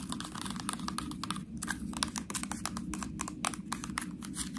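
Long nails tap and scratch the ridges of a small, ribbed white plastic honey mustard sauce cup, sealed with a foil lid and full. The result is a rapid, irregular run of dry, bright clicks and scrapes over a low, steady hum.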